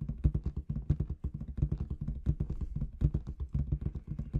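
Long red nails tap rapidly on a large inflated clear latex balloon with confetti inside. Each tap lands as a short, deep, hollow thump with almost no bright edge, and it dies away almost instantly.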